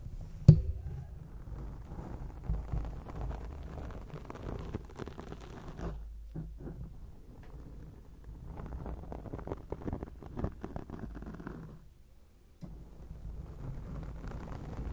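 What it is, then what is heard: Foam microphone windscreen being scratched. Long acrylic nails scratch and rub directly on a round, soft, porous grey foam microphone windscreen. The result is a dense, low, rumbling crackle of scraping with a sharp knock near the start. The scratching drops out briefly around 6 seconds and again near 12 seconds before resuming.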